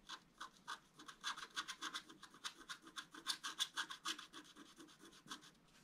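A wooden stylus scratches and rubs across a thin, solid, flat black wax-coated scratch-art paper card. The result is about two dozen quiet, dry, bright strokes at an uneven rhythm, each a short rasping scrape with no ringing after it.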